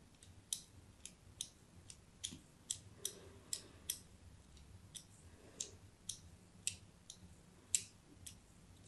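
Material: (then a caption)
Soap. A fine blade scratches crosshatch cuts into the face of a solid white embossed soap bar held in a hand with pink nails. There are 17 short, crisp, bright scraping clicks, each dying away almost at once over a quiet low hum.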